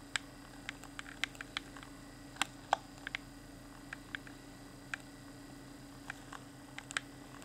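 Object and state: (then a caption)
Clear plastic game controller. A fingertip taps and clicks the D-pad and buttons of a hand-sized, hollow, transparent plastic Xbox One Afterglow controller with its pink LED lit. Around twenty short, dry, bright plastic clicks sound at irregular intervals, each dying away almost instantly, over a faint steady low hum.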